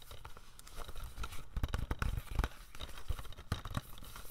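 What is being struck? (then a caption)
Plastic DVD case with cover sleeve. A standard hollow plastic G.I. Joe DVD case with a plastic cover sleeve is held in both hands and tapped and scratched with medium-length pink-painted nails. Quiet, irregular dull taps with a deep low thump sit under faint crinkly scratching from the sleeve. Each tap dies away almost instantly with no ring.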